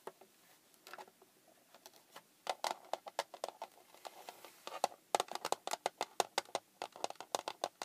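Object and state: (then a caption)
Plastic hard case tapped with fingernails. Long painted fingernails tap a small, hollow, red hard plastic case, like a handheld console case, lying flat on a wooden table. Short, dry, hollow clicks come sparse and soft at first, then grow quicker and louder in an irregular patter. Each tap has a bright edge and a hollow tone around 720 Hz.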